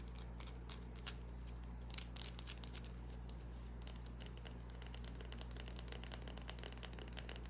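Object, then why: Small bar of soap. A small, solid green bar of soap is tapped and scratched with long nails. The result is a quiet series of short, bright clicks and scratchy crinkles over a steady low hum.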